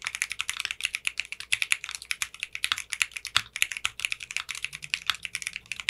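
Fingertips with short manicured nails type steadily on a 60% mechanical keyboard with clear pink polycarbonate keycaps. The result is a rapid run of short, crisp, bright clacks with almost no low end and very quick decay.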